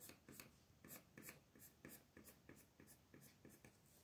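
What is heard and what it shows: A light blue wooden colored pencil rubs and scratches across a flat, thin paper mandala sheet held down by one hand on a table, shading the outer ring. Ten quiet, dry scratching strokes come in a steady back-and-forth rhythm, each a soft papery rasp with a bright hiss on top.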